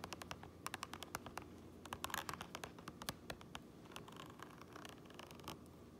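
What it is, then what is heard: Fabric cap lining being scratched. Fingernails scratch the grey fabric lining inside a black cap, near its printed seam tape. Quick, dry scratching strokes and light taps sound bright and crackly over a faint, steady low hum, with a denser flurry of scratches in the middle of the clip.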